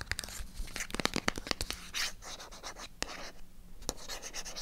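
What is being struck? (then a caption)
Small cardboard box tapped and scratched with fingernails. Long acrylic nails tap and scratch on a small, hollow, white printed MyGel cardboard product box held in the hand. Sharp, clicky taps come in quick bursts, mixed with dry, bright scratching and brushing across the box surface. The taps stop dead almost immediately, with a faint low rumble underneath.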